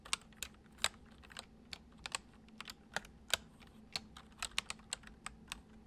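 Fingertips of both hands type fast on a full-size white plastic computer keyboard with hollow keys resting on a wooden desk. About seventeen short, bright, hollow clicks come in an uneven rapid run, each dying away almost instantly over a faint, steady low hum.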